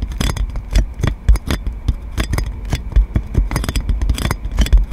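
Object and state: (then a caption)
Plastic cling film scratched on a microphone. Long nails scratch clear plastic cling film wrapped around a metal microphone, producing a steady run of crinkly scrapes and quick bright crackles. Each scratch also thumps heavily in the low end, so a dense muffled rumble sits under the crisp plastic texture.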